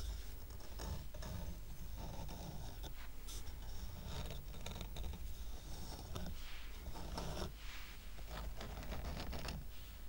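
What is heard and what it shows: Fingers scratch and tap the side edges of a small square stack of solid painted wooden coasters with a red heart, tied with twine. Dry, rasping scratches and soft taps come in quick bursts over a steady low rumble, with brief bright scraping streaks throughout.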